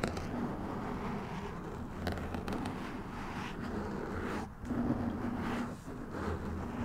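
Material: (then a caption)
Foam. Fingertips of both hands scratch and rub a soft, porous black foam windscreen on a white USB microphone. The result is a steady, dense, close-up crackling and rustling with a heavy low-end rumble and only brief dips in level.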